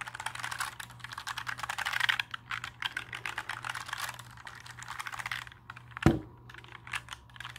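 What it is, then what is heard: Plastic mechanical keyboard. Fingertips tap and press the plastic keycaps of a compact black mechanical keyboard held at an angle, producing a rapid run of bright, clacky keystrokes over a faint steady low hum. The typing eases off in the middle, and a single heavier thud stands out near the end before light taps resume.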